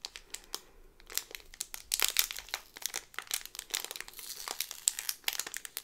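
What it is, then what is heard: Plastic-sleeved cardboard pin card. A small cardboard pin backing card in a clear plastic bag, back side up, is squeezed and scratched with fingers and long nails. The crinkly plastic sleeve gives off dense, bright crackles and short sharp snaps that come in irregular bursts, with almost no low end and no ring after each crinkle.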